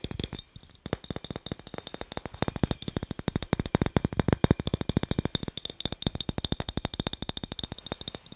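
A glass light bulb is tapped rapidly and steadily for about eight seconds. The hits are short, dry clinks, each with a low thump and a faint bright glassy tick, and they come in a dense, even stream.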